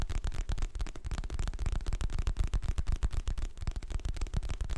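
Fingertips and nails tap and scratch the glossy printed cover of a medium, solid hardcover paper book held in both hands. The result is a quick, uneven run of dull, low, close-up thumps with very short decay and faint scratchy texture between them.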